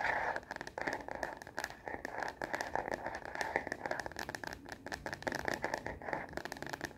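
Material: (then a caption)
Plastic. Long nails tap rapidly on the back of a smartphone in a translucent plastic case, held upright. The result is a fast, dense stream of dry, clicky taps with almost no ring, centered on a hollow plastic tone around 800 Hz and 2 kHz.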